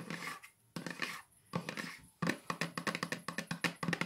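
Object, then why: Small cardboard box lid. Long nails fitted with metal paperclips tap and scratch on the lid of a small, hollow pink cardboard keepsake box with a unicorn print. Short bursts of dry, bright scratching separated by near-silent pauses give way to a quick run of crisp, sharp taps that die away almost instantly, with a faint hollow thump beneath each.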